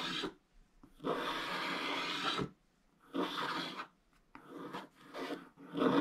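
A thin wooden stylus held in the fingers scratches the black wax coating off a flat scratch-art page in a book, revealing orange paper beneath and leaving curled black shavings. Dry, raspy scratching comes in separate strokes, a long one followed by shorter ones, with quiet pauses between them.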